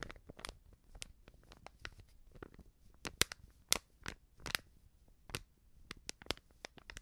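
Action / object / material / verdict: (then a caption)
scrape / small filled paper sachet / coated paper / none. Fingers crinkle and scratch a small, filled Backpulver baking powder sachet made of coated paper. The result is a quiet, irregular run of sharp, bright crinkles and scratchy crackles, with short dry snaps and almost no ring after each one.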